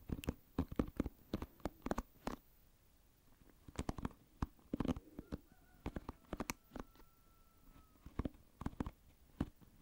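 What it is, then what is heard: Plastic pin-bristle hairbrush being scratched. Fingertips scratch across the pin bristles of an oval plastic paddle hairbrush held with its bristles facing the microphone, producing quick, crisp clicking scratches. The scratches come in rapid bursts separated by brief quiet gaps, and a faint steady tone hums in the background through the middle of the clip.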